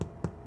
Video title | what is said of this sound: STEP6PARTTWO | again we have that nice hollow sound